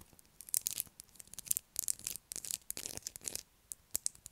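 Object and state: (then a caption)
Bar of soap scratched with nails. Long black acrylic nails scratch a light blue solid bar of soap held in the hands. Quiet, bright, crisp scraping comes in quick irregular bursts with almost no low end, each stroke stopping dry with no ring.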